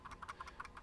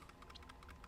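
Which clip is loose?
The first.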